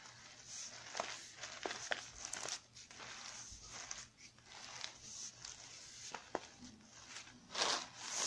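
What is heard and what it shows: A full 330 g kraft paper stand-up pouch of pumpkin spice granola is held in both hands and squeezed and scratched with long red-painted nails. The result is steady, bright crinkling and crunching with sharp clicks scattered throughout.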